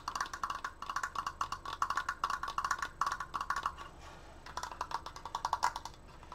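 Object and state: Wooden decoration.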